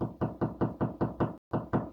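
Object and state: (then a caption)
Wall stud, solid spot. Knuckle knocks on drywall over a wooden stud, tapping to find studs before cutting holes for cables. Nine quick, dull, low thuds come in a steady rhythm with a brief pause before the last two, and each dies out almost at once. The solid, dead sound marks the stud spot.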